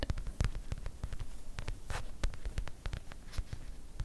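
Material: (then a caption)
Faux leather. A small, soft, stuffed white faux leather display pillow, held up in the air, is scratched and tapped with long white acrylic nails. The result is a quick, uneven string of dull, low padded taps, short and with almost no ring, mixed with brief bright scratching sweeps.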